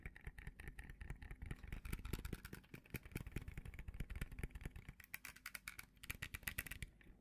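A small, thin, open frame of bright green hard plastic is held at a table and tapped and scratched with the fingertips and short fingernails. Quick, dry taps land in a dense, uneven stream, each with a dull low thump and a bright, clicky edge that dies away almost at once. Scratchy hiss fills the gaps between them.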